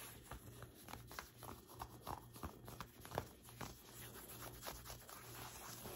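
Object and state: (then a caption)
Cotton t-shirt being scratched. Fingertips and long white acrylic nails scratch and rub the sleeve and shoulder of a light blue cotton t-shirt being worn. The result is a quiet run of short, dry scratches and soft rubbing strokes over a faint low steady hum.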